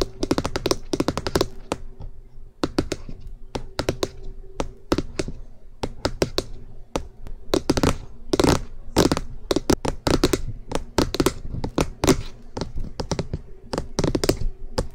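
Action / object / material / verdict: tap / hollow plastic microphone housing / plastic / none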